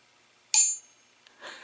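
A single tap on a metal crankshaft timing gear from a VW engine build, done as a ring test, gives a sharp strike and a bright, very high-pitched ring. The ring fades within a fraction of a second, followed by faint rustling. The gear rings as expected, a normal result.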